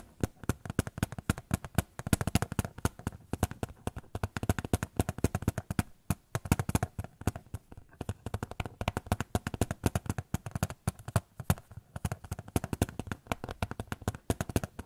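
A small white photo frame is tapped rapidly and steadily for about fifteen seconds, with no talking. The taps are short and dull, weighted toward low tones around 100 Hz with little high content, and each dies away almost at once.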